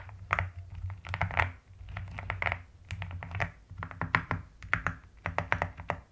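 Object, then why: Plastic mechanical keyboard with plastic keycaps. Long nails tap and type with both hands on a pastel mechanical keyboard with plastic keycaps. Quick bursts of sharp, bright clacks come in uneven runs with short pauses, each stroke dying away almost at once. A steady low hum sits underneath.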